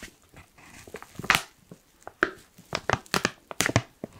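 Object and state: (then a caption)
Foil coffee bag being crinkled. Fingers pinch, crush and crinkle the top edge of a black foil coffee pouch. Soft rustling gives way to nine sharp, bright crackles with a dry, brittle snap that dies away almost at once.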